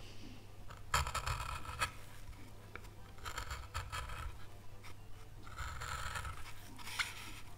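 A gouge held in gloved hands scrapes chips from the outline of an oak leaf carved into a small, solid, pale wood board. Bursts of dry, bright scraping come and go over a steady low hum.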